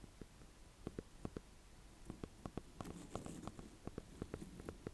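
A small, solid green-and-cream speckled ribbed gourd (a sweet dumpling squash) is held in one hand above hay while the fingertips and painted nails of the other hand tap and scratch its hard rind. About fifteen quiet, dull, low-pitched taps sound in an irregular rhythm, each dying away almost instantly, with faint scratching between them.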